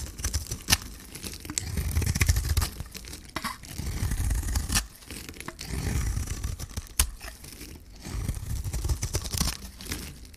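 A metal blade scrapes and shaves curls off a hand-sized, solid green bar of dry soap with a gold coating, held in one hand. Rough, crackling scraping strokes come in uneven bursts with a low rumbling body and bright, sharp ticks, and each sound cuts off quickly.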